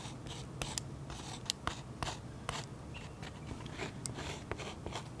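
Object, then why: Waxy oil pastel coating on paper. A metal pen tip scratches swirl lines into a waxy oil pastel coating on a sketchbook page resting on a solid flat surface, heard close-up. Short dry scratching strokes and bright, sharp ticks stand out over a quiet, steady low background hiss.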